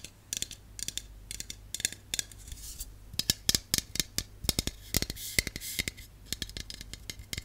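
A hollow aluminum Dove aerosol dry shampoo can, held upright and then tilted, is tapped rapidly with long colored nails. Dozens of quick, bright, dry clicks come in bursts and die away almost instantly, with faint scratchy brushes between them over a low steady hum.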